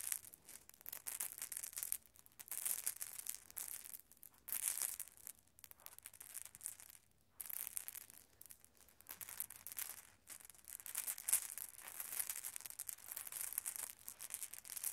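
A handful of small, solid glass marbles lying on red carpet are swept and pushed together by bare fingertips and palms so they clack against each other. Quiet, bright, rapid clicks and soft rustling come in dense bursts with brief pauses between them, and there is almost no low end.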